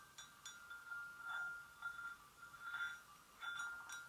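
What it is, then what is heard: Porcelain gravy boat. Long nails gently tap the inner rim and sides of an empty, hollow white porcelain gravy boat. Each tap gives a soft, clear ringing tone near 1.4 kHz with bright overtones that fades quickly. The taps come at irregular intervals and are quiet overall.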